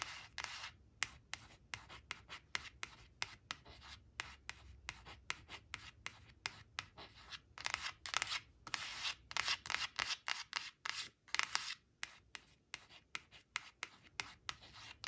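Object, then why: Coated cardboard card. Long nails trace the letters of a thin, flat, glossy coated-cardboard flash card printed with the word "purple" as it rests on a fabric cloth, scratching across its surface. The result is a quick, uneven run of short, dry, bright scratching strokes with a few longer rubbing sweeps and very little low end.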